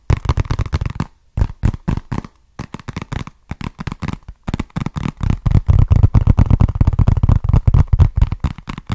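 Fingertips tap and scratch a small, flat, hollow brown cardboard box with a barcode label, held in the hands. Quick bursts of short, dull, low thuds with a papery crackle come in clusters separated by brief pauses, growing denser and louder toward the end.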